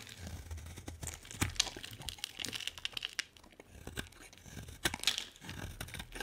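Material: Soap.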